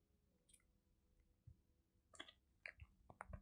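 Fingertips and nails tap and scratch across a flat, square teal Seventeen Heng:Garae album package, cardboard with a CD inside, sealed in a plastic mailer wrap and held in both hands. Quiet, dry, bright plastic clicks and crinkly scratches come in scattered bursts, growing denser and louder toward the end, over a faint low background hum.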